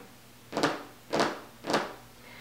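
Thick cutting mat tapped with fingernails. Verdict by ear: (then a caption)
Soft. Fingernails tap three times on a thick, soft cutting mat, giving short, dull taps with little ring. The softer mat grips a rotary blade better, which makes it the preferred choice for cutting out clothing patterns.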